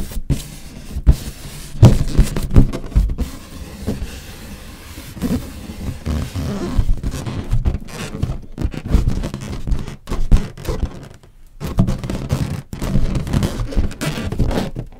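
A large inflated green latex balloon, hollow and air-filled, resting on a table, is tapped and scratched with long nails while a red balloon sits untouched nearby. Dull, low thumps mix with soft rubbery scratching that comes in uneven bursts, with brief quiet gaps between them.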